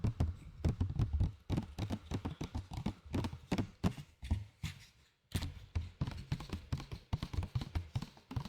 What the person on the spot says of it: C'est pas le meilleur plastique que j'ai vu. Avec des gobelets, c'est bien mieux.